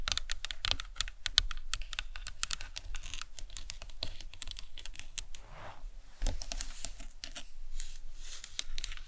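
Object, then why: Plastic skull model. Long nails tap rapidly on the cranium of a hollow plastic anatomical skull model resting on a towel, briefly moving to the face area. The result is a steady stream of light, bright, clicky taps with almost no ring, faintly shifting in tone as the nails move across the surface.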